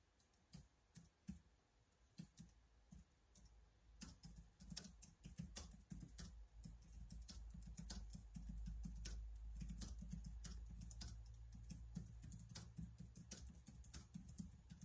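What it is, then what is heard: Plastic laptop keyboard being typed on. Quick fingertip typing on the keys of a black plastic laptop keyboard. It starts with sparse, sharp clacks and soon becomes a steady run of rapid clicks, each with a bright tick over a low thump, against a low rumble that grows louder midway through.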